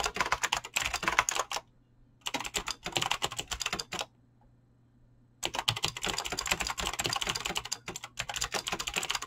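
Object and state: Mechanical keyboard with plastic keycaps.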